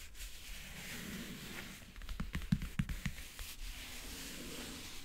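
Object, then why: Faux leather backgammon case. Long painted nails tap and scratch rapidly across the lid of a closed, hollow backgammon case covered in map-print faux leather. A soft, steady scratching hiss builds into a quick burst of about eight sharp, hollow taps in the middle before settling back into light scratching.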